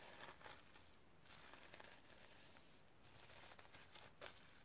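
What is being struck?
Sequin-covered notebook.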